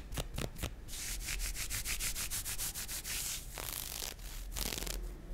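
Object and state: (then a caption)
Nylon fishnet arm warmer. Fingernails of one hand scratch and rub along a pink nylon fishnet mesh arm warmer worn on the forearm, its thin open net fabric lying over the skin. A quick run of short, bright, raspy strokes gives way to longer sanding-like rubs, with a faint low rumble underneath.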